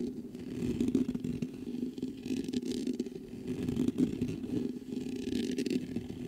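Fingertips scratch and rub the mesh grille of a black metal USB condenser microphone. A dense, continuous scratchy rustle with a steady low-mid tone around 250 Hz swells and fades over about six seconds, with brief faint bright hiss.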